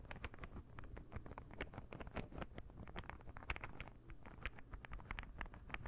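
A palm-sized, light-wood interlocking puzzle ball is held in the fingers and tapped and scratched with fingernails. The result is a quiet, rapid, uneven patter of short, dry clicks and ticks with scratchy, bright edges over a steady low rumble. Each tap dies away almost instantly.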